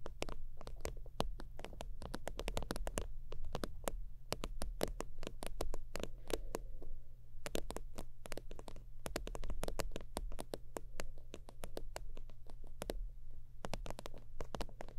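Long almond nails tap and scratch the top of a long, flat, iridescent holographic faux-leather zip wallet resting on a soft, padded fur blanket. Quick, crisp ticks with bright edges come in dense, uneven bursts throughout, each dying away almost at once. A steady low rumble runs underneath the whole time.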